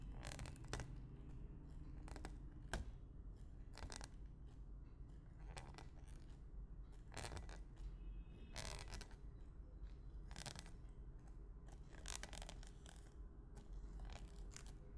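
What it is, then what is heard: Cling film stretched over a glass bowl, poked. A thin white stick repeatedly pokes clear plastic cling film stretched taut over an empty clear glass bowl, at different spots. Each poke gives a short, bright, crinkly crackle or pop that dies away almost at once. The pokes are spread irregularly over a steady low hum.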